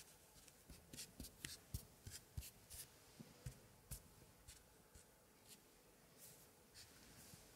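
White cotton-gloved fingertips rub and scratch across the old paper pages of an open antique scrapbook from the 1880s, with printed scraps and medallions glued onto both pages. Quiet, dry scratches and rustles come in short, irregular bursts, some with bright, crisp edges. The rubbing eases off toward the end.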